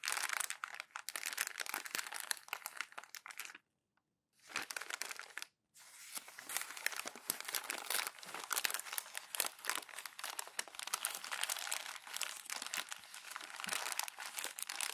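Bare fingertips crumple, rub and squeeze thin glossy magazine pages into a loose bundle on a white desk, making dense, bright crinkling and crackling. The crinkling briefly stops near the four-second mark, returns, pauses again just after five seconds, then continues steadily to the end.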